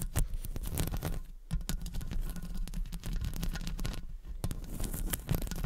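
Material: Metal mesh.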